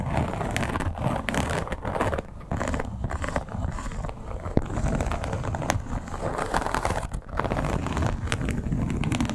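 Long black-tipped acrylic nails tap and scratch across the textured surface of a flat, hollow, soft red crocodile-embossed leather clutch. A dense, steady crackling scrape runs throughout, weighted toward low frequencies, with occasional sharper taps standing out and brief dips where the nails pause.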